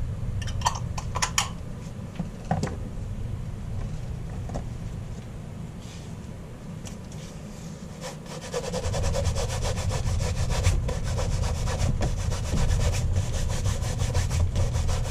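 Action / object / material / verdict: scrape / leather loafer / leather / none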